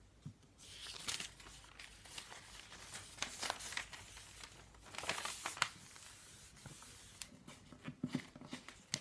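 Hands turn the thin listing pages of a paper phone book, rub its paper back cover flat and roll the page stack back. Bright, papery rustles and crinkling swishes come in bursts, with a few quick, sharp flicks and soft low thumps between them.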